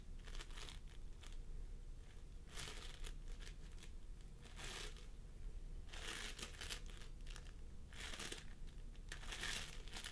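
Fingertips of both hands press and squish a pastel mound of floam sculpting foam made of polystyrene beads on a wooden table. Soft, bright crinkling and crackling bursts rise and fall over a low, steady rumble.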